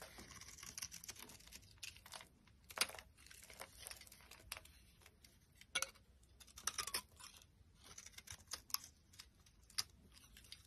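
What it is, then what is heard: Dry bar soap being carved. A metal utility knife blade carves a solid, dry cream bar soap, its flakes piling up on the surface. Quiet, bright scraping and crisp crackling strokes come in a steady series of short bursts, with a few sharper louder cuts standing out. There is almost no low end.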